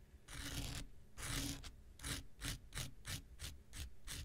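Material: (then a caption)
Abrasive foam. An x-acto knife blade scratches across the abrasive surface of a handheld pink rectangular nail buffer block made of solid foam. Two longer, drawn-out scrapes are followed by a quicker run of short, rasping strokes. Each stroke has a bright, gritty hiss over a low, dull rub.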